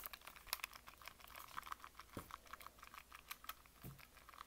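A small yellow hard-plastic Nintendo Switch Lite handheld console, a hollow electronic device, is held in both hands while fingertips rapidly tap its casing and press its buttons. This produces a fast, dense stream of short, dry, typing-like clicks centered around 1.1 kHz with bright high edges. Two soft, deeper thumps are also heard along the way.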